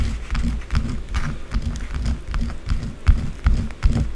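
Long blue acrylic nails scratch fast and hard at a small solid white bar of soap held on a dark table, shaving bits off it. The result is a rapid, uneven run of dry, thudding scrapes, about two or three per second, heavy in low tones with faint crisp edges.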